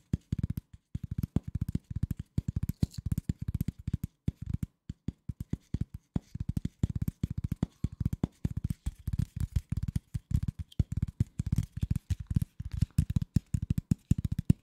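A flat piece of corrugated cardboard is scratched and tapped with fingertips and nails in quick clustered bursts. Each hit is a dull, low thump centered around 140 Hz with almost no ring, and brief quiet gaps fall between the flurries.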